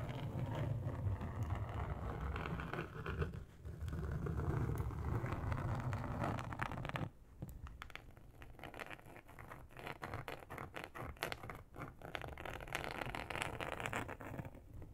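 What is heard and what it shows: Long acrylic nail tips scratch and tap across a large, flat, grey textured plastic sheet. For the first seven seconds there is a dense, rumbling, low-heavy scraping, then it drops quieter into rapid, irregular clicking taps and short scratches.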